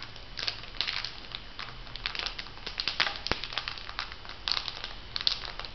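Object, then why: Foil sheet-mask packet. A filled, flat printed foil sheet-mask packet is bent and crinkled by hands. The result is a run of quick, bright crinkling and crackling bursts over a low, steady hiss, and the sound is mostly high and sharp.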